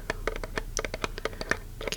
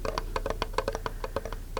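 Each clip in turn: First: metal tin lid, mid-pitched tap. Second: metal tin bottom, fuller lower tone.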